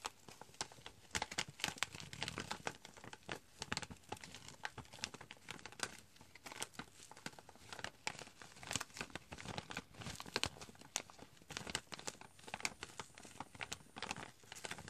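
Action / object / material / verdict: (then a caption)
scrape / foil-lined plastic pouch / foil-lined plastic / none. A foil-lined plastic chicory coffee pouch is held close and crinkled while fingernails scratch its surface, and its top edge is folded and torn open. The result is a dense, quiet stream of sharp, bright crackles and rustling tears with very little low end and no ring after each snap.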